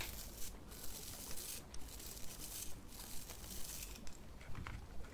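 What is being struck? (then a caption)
Thin plastic zip bag holding manicure tools. A thin transparent pink plastic zip bag holding a nail brush, toe separators and clippers is crinkled and rubbed by fingers with long red nails. Bright, papery crinkling comes in regular bursts about once a second over a steady low rumble.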